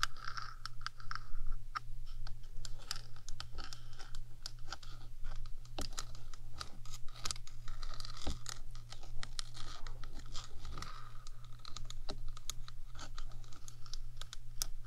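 One hand's long acrylic nails scratch and tap the top of a rectangular, hollow metal 3Dio microphone housing. Rapid, dry clicks and scraping strokes run throughout, each click dying away almost instantly, over a steady low hum.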